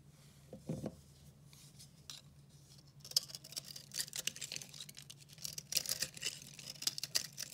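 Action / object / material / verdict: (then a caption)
scrape / recycled soap bar scraped with a knife blade / soap / none. A red-handled utility knife blade carves and scrapes a hand-sized, very dry bar of multicolor pastel recycled soap held in the hand, so chunks crumble off. After a quiet start with a soft low thud, dense, bright, dry scraping and crackling builds from about three seconds on. The short crisp crunches fade almost instantly.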